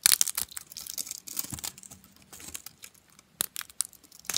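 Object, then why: Soap flakes. A pile of broken, dry orange soap flakes, solid and brittle, rests on white paper and is squeezed and crushed between the fingers and palms. Dense, bright, crackling crunches come in quick, dry bursts with almost no low end and no ring. A few sharper snaps stand out near the end.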